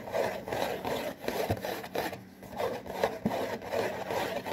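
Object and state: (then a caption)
Cardboard box being scratched and rubbed. Fingertips and nails scratch and rub the back panel of a printed cardboard saltine cracker box. Repeated dry, papery scraping strokes swell and fade at a steady pace, with a soft midrange texture and a few sharper scratches.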